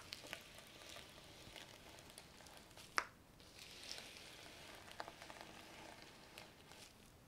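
Fingertips and flat palms rub and sweep across a large flat sheet of gold and brown reversible sequin fabric lying on a table, flipping the sequins. A steady, quiet, bright rustling hiss runs throughout, broken by a few sharp little clicks; the loudest snap lands about three seconds in.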